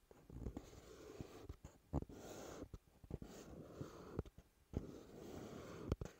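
Fingertips and short nails tap and scratch the front face of a hollow, rectangular dark teal cardboard box, CK Free perfume packaging, resting on a wooden table. A quiet, low, dull scratching texture is broken by a series of short, soft, hollow taps that die away almost instantly.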